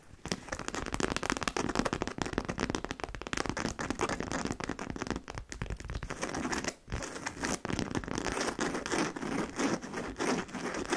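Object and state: Fabric handbag scratched with nails.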